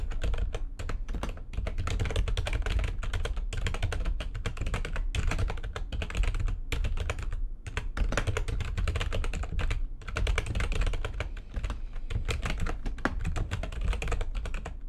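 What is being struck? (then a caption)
Plastic computer keyboard. Fingertips with long nails strike the keys of a full-size, low-profile, backlit plastic computer keyboard on a desk in fast typing. It makes a steady stream of short, dry clicks and clacks with a deep thumpy body and bright tapping edges, broken by brief pauses near 7.5 and 10 seconds.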